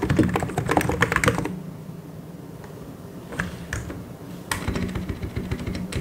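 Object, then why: Plastic mechanical keyboard. Fingertips type on a full-size white and grey mechanical keyboard with plastic keycaps, giving a quick, uneven clatter of short, dry key taps. A dense burst of typing fades into a near pause over a faint low hum, broken by a few isolated taps, before the typing picks up again.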